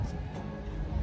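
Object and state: Nothing is struck.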